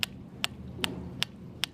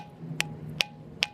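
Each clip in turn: First: dull rock surface, no ring. Second: ringing rock that rings when struck at its indentations.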